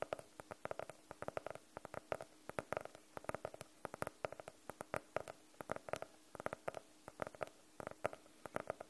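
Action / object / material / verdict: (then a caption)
tap / hardcover notebook, cardboard cover / cardboard / none. Long nails tap the cover of a medium blue hardcover notebook, solid and closed, held in front of the mic. About fifty short, dry, hollow taps come in quick, uneven clusters over nine seconds, each with a mid-pitched knock that dies away almost instantly. The tapping stays quiet and gentle throughout.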